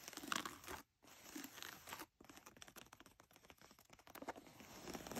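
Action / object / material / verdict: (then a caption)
scrape / denim jeans / denim / none. Long nails scratch and rub blue denim jeans, first along the front waistband and then over the stitched back pocket. The result is a dense, bright, scratchy rasping made of quick overlapping strokes, broken by two brief pauses near the one- and two-second marks.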